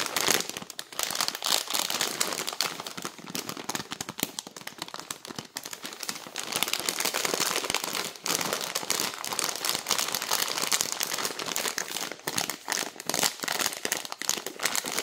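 Long nails tap, scratch and crinkle a clear plastic bag full of 500 g of dry fusilli pasta. The result is a continuous, bright, dense crackle of fast crinkling and rustling with almost no low end.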